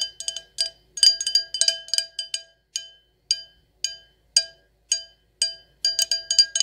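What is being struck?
Glass stemless wine glass.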